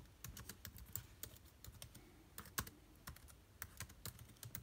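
Fingertips type continuously on the black plastic keys of a silver aluminium laptop, producing a steady stream of short, quick-decaying clicks and taps. Each keystroke pairs a soft low thump with a bright, high click.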